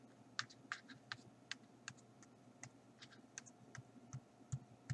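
Fingertips and nails tap and drum on the blank pages of an open paper sketchbook lying flat on a table, a flat solid stack of sheets. About sixteen quiet, dry taps land in an uneven rhythm, each a short bright click over a soft low thud that dies away at once with no ring.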